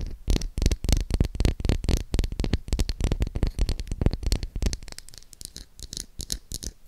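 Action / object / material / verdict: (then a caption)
tap / bar of soap / soap / none. Long acrylic nails tap and scratch the surface of a solid pink oval Dove soap bar with an embossed logo, held in the hand. Quick, irregular dull taps mixed with scratchy rubbing come in a dense stream, heaviest in the low end with brief bright edges, and soften toward the end.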